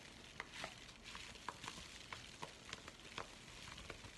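A flat, empty yellow kraft paper padded bubble mailer is held and crinkled in both hands while fingers scratch across the paper. A steady, bright, sizzling crackle of paper texture carries about nine sharper crinkling snaps that stand out briefly and die away almost at once. The sound is quiet and close, with most of its energy in the upper range and little low end.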